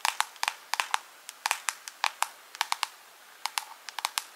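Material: Plastic.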